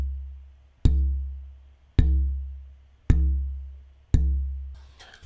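The left half of a German spruce oud soundboard pair, about 6 mm thick with a knot, is held loosely and tapped four times, each tap giving a dull, low tone around C that fades over about a second. The wood vibrates little at this thickness.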